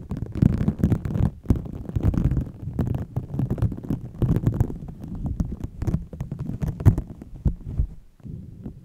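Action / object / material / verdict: scrape / microfiber cleaning cloth rubbed over a foam-covered microphone / microfiber fabric / none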